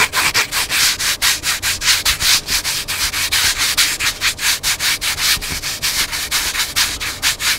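Fingertips and nails scratch the cover and black spine of a hardcover book lying flat. Rapid, bright, dry scratching strokes come in a steady back-and-forth rhythm, each one short with almost no low end.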